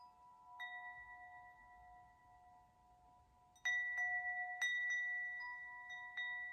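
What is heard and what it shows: A hollow metal tube wind chime hangs from its top string while fingertips knock and swing the tubes so they clink together. A few bright, bell-like strikes ring out with long, sustained tones near 2 kHz and lower partials around 700 Hz and 1 kHz, fading slowly between hits. A quiet stretch in the middle is followed by a denser cluster of clinks toward the end.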